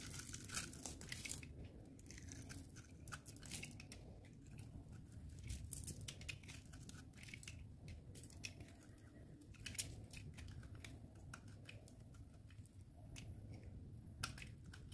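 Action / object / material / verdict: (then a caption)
scrape / bar of soap scraped with a blade / soap / none. A snap-off utility knife blade scrapes and slices the surface of a solid, dry, light-green oval bar of soap, palm-sized and held in hand, shaving it into small crumbs. Dense, crisp crackling and scraping runs throughout, with sharp bright ticks and short tearing bursts over a steady low rumble.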